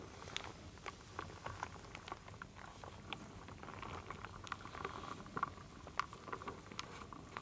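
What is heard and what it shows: A wooden spoon stirs and scoops through a full wooden bowl of wooden beads and acorn pieces. A quiet, steady rattling patter is broken by frequent short, dry clicks and knocks with a woody ring near 1 kHz.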